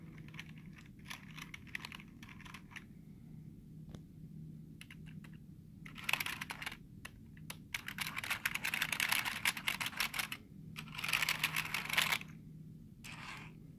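Fingertips tap the letter keys and space bar of a black plastic keyboard with hollow keys, making soft, bright clicks over a faint low hum. The taps start sparse and irregular, then build into dense, louder bursts of rapid typing in the second half before easing off.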